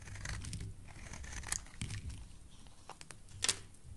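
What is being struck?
Bar of soap carved with a knife blade.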